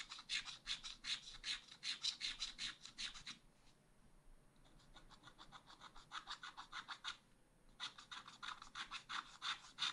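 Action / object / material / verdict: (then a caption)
scrape / wax-coated scratch art paper scratched with a wooden stylus / coated paper / none. A thin wooden stylus scratches inside ice cream outlines on a black wax-coated scratch art page lying flat in a spiral pad. Quick, bright, dry scratching strokes repeat about every half second. They fade to a softer, faint rasping in the middle before the crisp strokes return.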